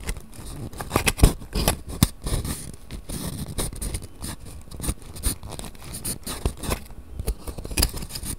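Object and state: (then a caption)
Cardboard matchbox with wooden matches. A small cardboard matchbox of wooden matches is held open in both hands while fingertips scratch and rub the wooden matches and the cardboard drawer. The result is a steady run of soft, dry scratching and light tapping, with several sharper clicks standing out above the low, close rustle.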